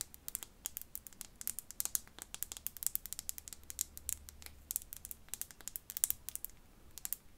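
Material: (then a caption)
Glass. A tiny glass bottle is tapped and scratched with fingernails in a quick, irregular flurry of soft clicks and scrapes. The sound is quiet and bright, with crisp, short ticks that die away almost instantly over a faint low hum.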